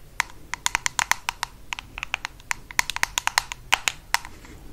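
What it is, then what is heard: Plastic jar lid tapped with nails. Long acrylic nails tap and scratch the top of a black ribbed screw lid on a small bronze-amber cosmetic jar with an "MA" label, held in one hand. About 26 quick, sharp, bright clicks land in an uneven rhythm, each with a brief high ring that fades almost instantly, over a faint soft scratching between strikes.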